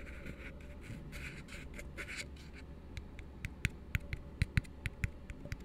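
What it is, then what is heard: Empty plastic cup. Fingertips and nails work over the side and base of an empty, hollow plastic cup resting open end down. The first half is soft, breathy scratching over a low steady hum, then it shifts to a run of sharp, dry taps with bright clicks and almost no ring.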